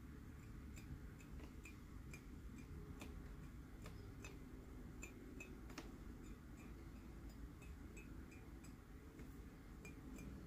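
A glazed ceramic Maleficent coffee mug, hollow and empty, is held in hand and tapped with fingernails. Light, bright clicks repeat throughout with a short ringing tone, over a steady low rumble that dominates the quiet clip.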